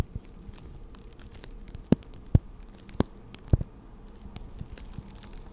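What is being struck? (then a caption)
Plastic blister pack holding markers. Long acrylic nails tap and scratch a hand-sized clear plastic blister pack that holds six pastel markers and is hollow around them. Soft, dry scratching and light clicks run throughout, with four sharper taps standing out in the middle. The taps are short and low, with no ring.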